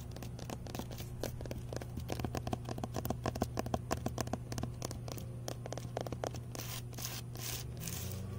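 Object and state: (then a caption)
Weathered wooden garden bed board. Fingernails and fingertips tap and scratch a weathered, solid wooden side plank with a knot on an outdoor raised garden bed. Quick dry taps and scratches with almost no ring sit over a steady low hum, and the clip ends in a brighter, denser stretch of scratching.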